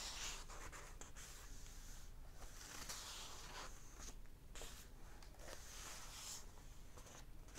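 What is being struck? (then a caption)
Paper pages of a hardback book. Fingertips of one hand rub and lightly scratch the paper pages of an open hardback book resting on a table, and a page is turned. The result is a quiet, continuous papery rustle with bright, scratchy hiss over a soft low rumble, swelling briefly with the page turn.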